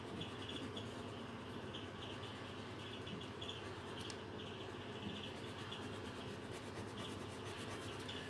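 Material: Paper.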